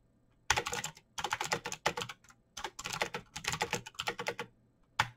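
Fast two-handed fingertip typing on a backlit plastic Razer BlackWidow mechanical keyboard with clicky green switches. Bursts of sharp, bright clicks come in rapid runs separated by short pauses, each click dying out almost at once.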